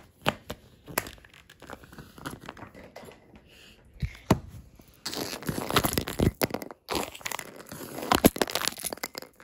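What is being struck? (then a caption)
Wooden table top tapped with fingertip claws. Green claw fingertips tap fast and scurry across a solid, dark wood-grain wooden table top. Sharp, dry taps with almost no ring mix with scratchy, crinkling skitters. The scurrying thickens into louder, denser bursts in the second half.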